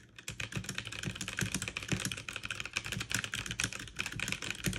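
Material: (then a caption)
Plastic. Fast two-handed typing with fingertips and long nails on a backlit mechanical keyboard with plastic keycaps. It makes a steady, dense stream of bright, crisp clacks with a soft low thock under each press. Every keystroke stops short with no ring.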